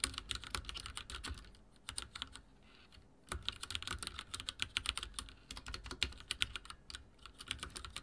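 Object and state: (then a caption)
Plastic mechanical keyboard. Fingertips of both hands rapidly type on a full-size backlit mechanical keyboard with dark plastic keycaps and linear switches, resting on a wooden desk. Dense, bright, clicky keystroke taps come in quick bursts with short, dry decays, broken by brief pauses before the typing resumes.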